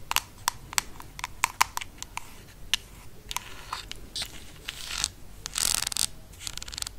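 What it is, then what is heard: Plastic jar lid scratched with nails. Long nails scratch along the ridged side of the black ribbed screw lid on a small amber/bronze plastic cosmetic jar, producing sharp, bright ratchet-like clicks. The clicks come in quick bursts, with scratchy, denser rasps toward the end.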